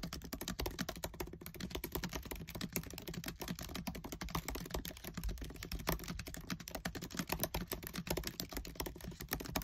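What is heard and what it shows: Fingertips with short nails type fast on the black plastic keys of a MacBook Air keyboard set in an aluminium body. The result is a dense, steady stream of quick, crisp clicks and taps over a faint low hum.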